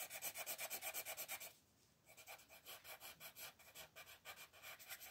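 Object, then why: Colored pencil on a paper coloring book page. A green colored pencil rubs back and forth across a page of an open paper coloring book lying flat on a table, filling in a large area. It makes quick, steady, bright raspy scratching strokes, pausing briefly for about half a second before the strokes resume at a slightly softer level.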